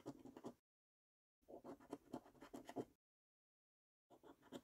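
A coin scratches the latex coating off the prize circles of a thin paper £25 5x £1 Million Prize Portal National Lottery scratch card. Three bursts of quiet, rapid, raspy scraping are heard, separated by silent pauses, with most of the energy in the low-mid range.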